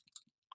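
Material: Plastic.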